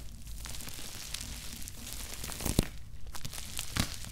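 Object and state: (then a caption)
Bubble-wrapped cardboard shoebox. A cardboard Nike shoebox wrapped in plastic bubble wrap is scratched and tapped on top with fingertips and nails. It makes a steady, soft crinkling scrape with a few sharper taps and crackles standing out near the end.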